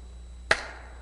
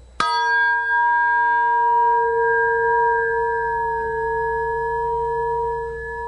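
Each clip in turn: First: polymer cone material with damped resonance. Second: aluminum speaker-cone material ringing strongly.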